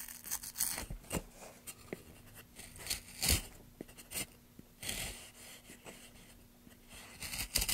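A wooden-handled carving gouge scrapes and cuts grooves into a long, solid, pale basswood block resting on a black surface, while bare fingers steady the block and curls of shavings gather around it. Bright, crisp tearing and scraping strokes come in irregular bursts, mixed with short sharp cuts that die away almost instantly, over a faint low hum.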